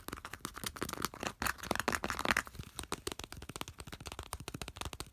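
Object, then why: Aluminum aerosol spray can. Fingertips and nails tap and scratch the side of a hand-sized, hollow, cylindrical aluminum aerosol spray can with a glossy blue printed body and a red plastic cap, held in the hand. A fast, dense run of short, dry clicks and scratchy rasps has a brief bright metallic ring around the middle.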